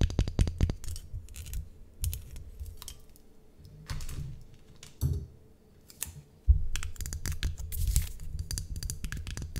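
A hollow, apparently empty white ceramic mug with an ornate gold handle is tapped and scratched on its sides with long acrylic nails. Rapid clicky taps come in bursts, broken by softer scratching passages and brief quiet pauses. The sound is a dull low thump under bright clicks.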